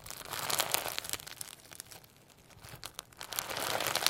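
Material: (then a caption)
Slime, sequins. A hand-sized lump of firm homemade slime packed with holographic sequins and a few pearl beads is held in both hands and stretched, folded and squeezed with the fingertips. Bright, dense crinkling and crackling with sharp little snaps fills the start. It fades to a quiet stretch in the middle, then builds again toward the end.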